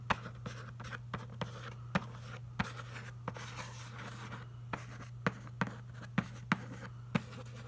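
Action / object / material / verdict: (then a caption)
scrape / printed cardboard box / cardboard / none. A fingertip traces and scratches over the printed front panel of a large, hollow, glossy printed cardboard box, the packaging for a Logitech MK320 keyboard. Quiet, dry scratching is punctuated by about fifteen short, sharp clicks that die away almost instantly. A steady low hum runs underneath throughout.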